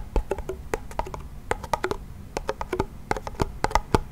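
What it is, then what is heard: Wooden toy pellet drum. A small wooden toy pellet drum with a wooden frame and a white head is twisted and shaken by its handle and tapped by hand. The result is a quick, irregular series of short, dry, hollow knocks and taps that die away almost instantly, with a woody midrange tone and a soft low thump beneath.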